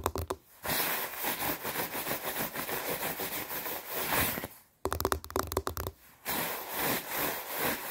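Hands rub and scratch along the padded sleeves of a white quilted nylon down puffer jacket while the arms are crossed, producing a bright, noisy swishing and scraping. Fast bursts of crinkly friction are broken by a few short pauses, with quick clusters of sharp scratches between the longer rubbing passages.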